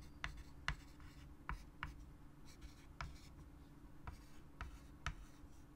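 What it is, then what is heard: Chalk writing on a wood-framed chalkboard. A white chalk stick writes on a large wood-framed chalkboard with a solid flat board, making scratchy strokes with eight sharp taps as the chalk strikes the surface. A low, steady hum sits beneath the quiet writing.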